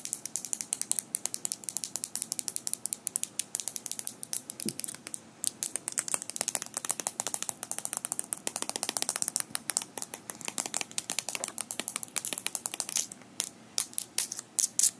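Small metal fingerpicks worn on all fingers of both hands are tapped and clicked rapidly against each other. The result is a dense, irregular stream of sharp, bright metallic clicks that die away almost instantly, with almost no low end.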